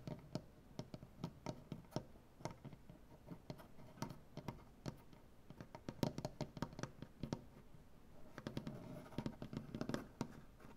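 Both hands tap their fingernails rapidly on a large, solid wooden butcher-block tabletop, making dozens of quick, dry clicks with a low, woody body and almost no ring. Toward the end, the taps grow denser and fuller, with a softer rustling texture between the clicks.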